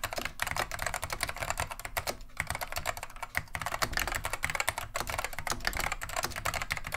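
Continuous two-handed fingertip typing on a beige plastic vintage Wang 725 mechanical keyboard with Alps switches produces a rapid, steady stream of sharp, clacky keystrokes. Each keystroke has a bright click and a little low thock, and there are brief pauses between bursts.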